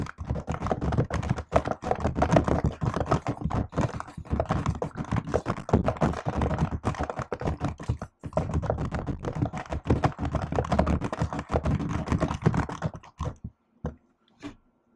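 Fingertips and long nails type continuously on a silver laptop keyboard with black plastic keys set in an aluminium body. The result is a dense, steady stream of short, dry clicks and soft thuds with very little ring, briefly pausing near the middle. The typing thins out to a few last taps before stopping near the end.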